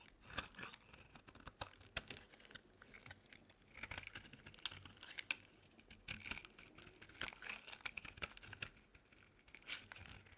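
A solid white bar of soap held in the palm is carved and scraped with a metal utility knife blade, chunks breaking off. Soft, bright, dry scraping and crisp crunching come in quick irregular bursts, each snap short with almost no ring, at a quiet level with little low end.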